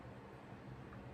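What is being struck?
Nothing is struck.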